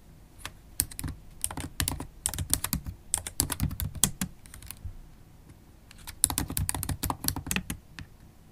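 Long holographic acrylic nails and fingertips type continuously on a MacBook Pro keyboard with black plastic keys in an aluminium body. Fast, irregular bursts of short, dry clicks with bright high nail ticks sit over soft low key thuds. The typing pauses briefly around the middle before resuming.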